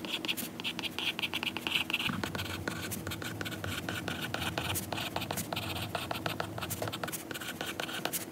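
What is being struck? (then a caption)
Stylus tip on a glass tablet screen. A lilac stylus tip writes on a glass iPad screen showing a lined note page, making quick scratching and tapping strokes on the glass. The sound is a dense run of bright, short clicks and scratchy strokes over a soft hiss, with a steady high tone near 2.7 kHz early on.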